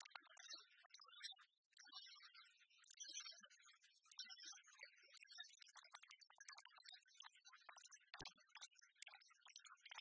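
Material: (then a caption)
Metal. A palm-sized, copper-coloured oversized penny replica of solid metal, held in one hand, is tapped rapidly with the long fingernails of the other hand. The clip is a quiet, fast stream of bright, clicky metallic ticks centred around 1.7 kHz, each dying away almost instantly with no low-end body.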